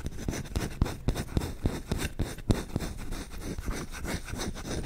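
Short fingertips scratch quickly along the back of the bowl and the handle of a solid wooden spoon. The result is a fast, irregular run of dry, scraping rubs with a dull, low-heavy body and little ring.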